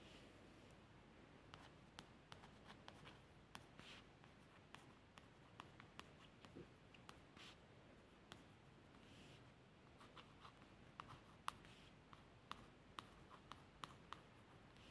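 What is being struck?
Laminated cardboard book cover.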